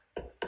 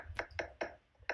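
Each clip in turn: First: solid hard coat stucco wall. Second: hollow-sounding EIFS synthetic stucco wall.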